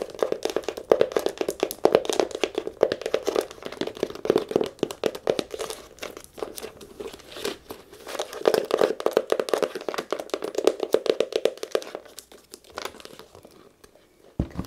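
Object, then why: Leather camera case. A brown leather camera case with a strap is held up and tapped and scratched on the leather with long nails. Rapid, dense clicking taps and dry scratching run throughout, with a steady mid-range tone around 450 Hz. The activity thins out near the end before a brief louder burst.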